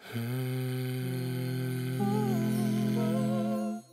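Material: Nothing is struck.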